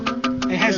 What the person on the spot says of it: has a very Hollow sound very Hollow it sounds like metal